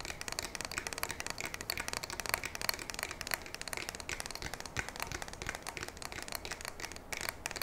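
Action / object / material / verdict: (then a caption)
tap / polymer and metal shotgun fore-end and receiver / polymer / none. Long nails tap and scratch the polymer fore-end and receiver of a black polymer and metal pump shotgun held vertically, one hand on the barrel. A steady stream of quick, dry, bright clicks and scratchy rasps runs throughout, each tap stopping dead with no ring.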